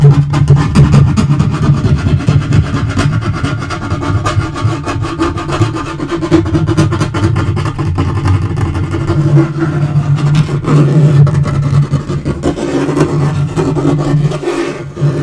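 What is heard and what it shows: Fingernails scratch and fingertips tap across a dark wood-grain laminate portable table top, including its edge. The result is a steady, low, rubbing drone with a pitch near 141 Hz, broken by many short, dull taps that fade quickly.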